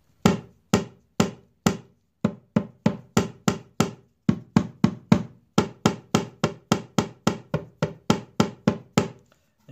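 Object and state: Loose guitar brace.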